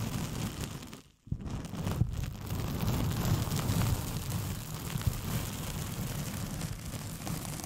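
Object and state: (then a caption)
Paper sheet being scratched. A thin white paper sheet with pink polka dots, curled into a hollow, empty tube around a foam-covered microphone, is scratched with long painted fingernails. The result is a dense, rumbling scratch dominated by low muffled tones, with faint bright crackle. It briefly drops almost silent just after one second, then continues steadily.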